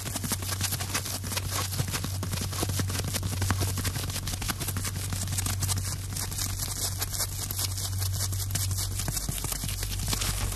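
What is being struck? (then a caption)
Porous foam sponge. Fingertips handle a light, airy, hand-sized block of yellow, porous, holey sponge-like material held up close. It makes a dense, continuous stream of rapid crackling and scratching clicks that stay bright across the range. A steady low hum runs underneath throughout.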